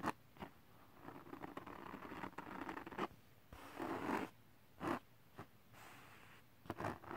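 Fingertips scratch the surface of a flat holographic glitter cardstock sheet, making dry, raspy scraping bursts with sharp, brief attacks and quiet gaps between strokes. The scratches come in uneven spurts, some drawn out into a steady rustling rasp. At the end, a hand moves close to the microphone.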